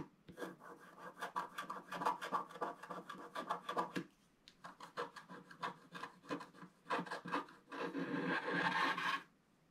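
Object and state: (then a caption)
Scratch-art paper being scraped. A wooden stylus scrapes the coating in the middle area of a flat scratch-art paper page, making quick, dry rasping strokes that sit mostly in the mid range around 1 kHz. The strokes come in rapid, uneven bursts, pause briefly near the four-second mark, resume, then merge into a dense, louder continuous scrape before stopping abruptly just after nine seconds.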